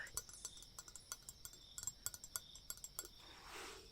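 A metal dagger is tapped in a quick, uneven series of about nineteen bright, high-pitched metallic clinks, each ringing only briefly. The clip ends in a soft, breathy hiss. The dagger's sound is received with pleasure.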